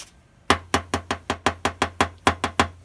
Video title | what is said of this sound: ND Miata lots'O Al | It doesn't sound as solid. It doesn't sound as hard.